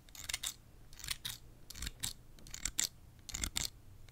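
A small pair of scissors with steel blades and blue plastic handles is held in one hand near the microphone, and the fingers repeatedly open the blades and snip them shut. Each snip is a sharp, bright metallic click with a light scrape of blade on blade, arriving in uneven clusters over a faint low hum.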